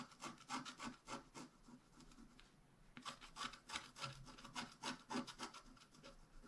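A wooden stylus scratches across the right side of a thin, flat, wax-coated scratch-art card in quick, uneven back-and-forth strokes. The rasping scrapes are bright and broadband, and a quieter pause comes near the three-second mark before the scratching resumes.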